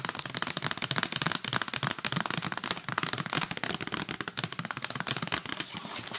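Long acrylic nails rapidly tap and scratch the lid and sides of a hand-sized, hollow clear plastic clamshell container full of strawberries. The result is a dense, continuous stream of sharp, bright plastic clicks that die away almost instantly, mixed with a crackly, scratchy texture.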